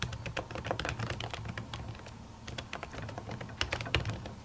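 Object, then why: Laptop keyboard with silicone keyboard cover. Long natural fingernails and fingertips type on the plastic keys of a silver laptop keyboard covered by a white printed silicone cover. A rapid, uneven stream of soft, muffled key taps with low thuds is heard, broken by sharper, brighter clicks from the nails. Each stroke dies away almost instantly.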